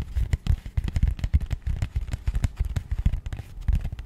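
Long painted nails tap rapidly on a small, rigid, matte grey cardboard box held upright in both hands. The result is a quick, uneven run of dull, low, hollow taps that stop almost instantly with no ring.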